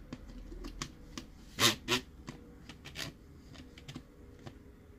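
Fingertips tap lightly on a hollow, hard plastic BB-8 sipper cup, a sphere whose halves are twisted closed along plastic threads. Short, bright, clicky taps come at an uneven pace, with two louder knocks near the middle standing out from the soft, quick ticks around them.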